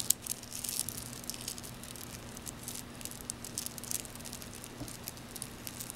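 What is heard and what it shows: A frosted white and blue glass bead bracelet is held in both hands while the beads are rubbed and pinched between fingertips and nails. This makes quiet, bright, irregular clicking and ticking as the beads knock together. A faint steady low hum runs underneath.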